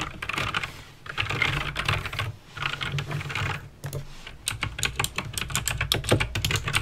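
Fingertips with painted nails type on a backlit mechanical keyboard with plastic keycaps and clicky green switches. Two bursts of fast, dense clattering give way to a run of slower, separate sharp clicks. A steady low hum sits underneath throughout.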